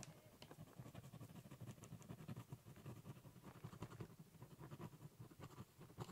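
The metal-and-plastic tip of a ballpoint pen scratches over a large, flat, hollow corrugated cardboard box lying on a table while drawing and writing. The result is a steady run of quiet, rapid scratchy strokes with a low, hollow rumble from the box and faint bright ticks on top.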